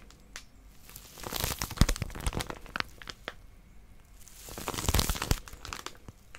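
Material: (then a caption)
Plastic film. A small white plastic-wrapped paper packet with a pink outline is gripped, squeezed and scratched by long nails. The crinkly wrapper gives off bursts of sharp crackling and crumpling, building to two dense swells near the start and end of the clip, with quieter crinkles between them.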